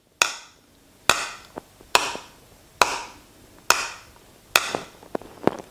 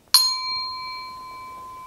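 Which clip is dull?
The first.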